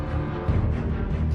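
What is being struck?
Nothing is struck.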